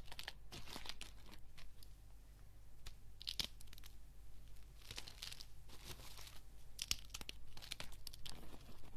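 Brittle green and white dried soap curls on a table are snapped and crushed between fingertips with dark-polished nails. Quick, dry crunches and crackles come in dense bursts, bright and high in tone, over a steady low hum.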